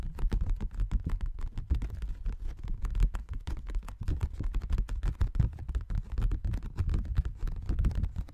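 A folded paper Christmas card is opened and held in both hands while fingers rub and flex the paper. A dense stream of short, soft crackles and rustles runs without pause, mostly dull and low in tone, with little bright edge.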